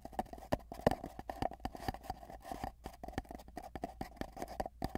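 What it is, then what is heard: Empty cardboard tube. Fingertips of both hands tap rapidly in a galloping rhythm on a long, hollow, empty cardboard tube, then hold its ends. Each quick, dry tap carries a hollow, boxy resonance around 600 Hz with little bright content, and the taps die away almost instantly.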